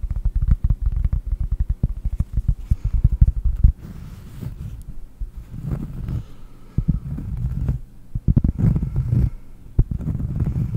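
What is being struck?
Cork disc.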